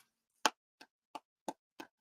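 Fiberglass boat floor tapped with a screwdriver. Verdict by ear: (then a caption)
Solid. A screwdriver taps five times on a fiberglass boat floor to check for a soft or rotted core. Each tap is a short, crisp, bright tink with almost no ring and no low thud. The crisp sound shows the floor is solid.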